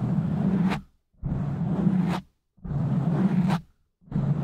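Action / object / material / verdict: scrape / foam microphone windscreen / foam / none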